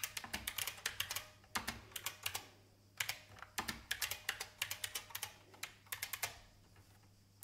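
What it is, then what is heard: Plastic mechanical computer keyboard. Long painted fingernails type on an old, full-size beige IBM plastic mechanical keyboard with a hollow case. Quick runs of sharp, bright, clacky key taps come in bursts with short pauses between them, each click dying away almost at once. The typing thins out and grows quieter toward the end.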